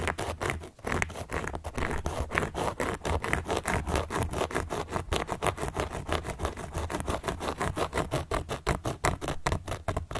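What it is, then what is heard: Cork board scratched. A carving tool is scratched across a large, round, solid cork board in rapid, repeated strokes. Each stroke gives a short, dry, rasping scrape that spreads from low to bright tones and dies away quickly. A steady low hum runs beneath the scratching throughout.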